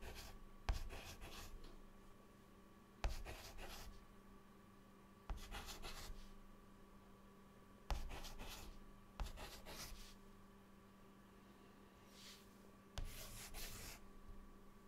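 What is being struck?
Chalk stick on a slate chalkboard.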